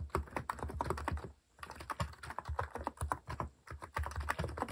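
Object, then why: Plastic mechanical keyboard and keycaps. Fingertips rapidly type on a compact mechanical keyboard with a white plastic case and cat-themed plastic keycaps resting on a wooden desk. A steady stream of short, clacky key strokes with a deep thocky low end and a click around 1 kHz, with a brief pause near the middle before the typing resumes.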